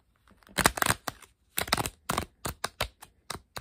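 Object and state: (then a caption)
Deck of paper playing cards. A deck of coated paper Uno playing cards is held above a table while fingertips bend and riffle the card edges. Dry, bright flicking clicks come in quick bursts with short pauses between them, then thin into single sharp snaps that die away almost instantly.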